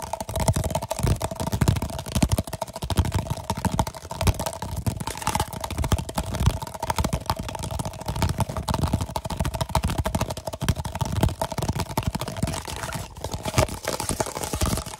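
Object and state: Plastic cup tapped.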